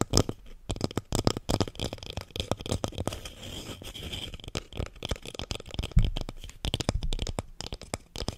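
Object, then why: Small plastic plant pot filled with soil. Fingernails tap and scratch the side of a small lilac plastic plant pot filled with soil and holding a succulent. Dense, quick hollow taps with dull low thuds and bright clicks dominate, broken by a stretch of steady scratching in the middle and a sharper knock near six seconds before the tapping resumes.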